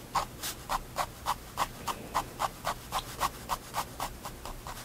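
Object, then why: Fine-tip pen on a paper sketchbook page. A fine-tip pigment liner pen, held by hand, draws fur on a thin, solid page of a spiral-bound white paper sketchbook lying flat on a wooden desk. Short scratchy strokes repeat in a steady rhythm of about three to four per second. Each stroke is a brief dry scratch centered around 1 kHz with a bright, hissy top over a quiet background.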